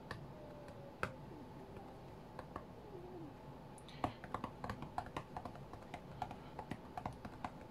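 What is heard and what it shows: Fingertips and nails tap the glass touchscreen of an iPad tablet lying flat on a cutting mat. A few scattered, soft clicky taps come first, then a quicker, uneven run of short, dry ticks with a slight mid-pitched click to each. Behind them runs a low, steady background hum.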